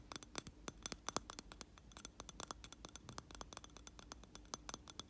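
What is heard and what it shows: A hand holding a lit candle in a round glass jar filled with wax scratches and taps the outer glass with its nails. The result is a quick, uneven run of sharp, bright clicks and scrapes that stop almost instantly, over a faint low background hiss.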